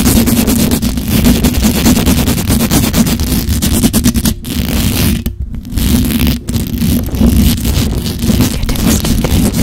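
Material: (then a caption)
Metal mesh. Long acrylic nails scratch and tap rapidly across the hollow, perforated metal mesh grille of a black USB condenser microphone. The result is a dense, continuous, heavy scratching texture with a strong low, boomy body. The sound drops out briefly a few times around the middle before resuming at full intensity.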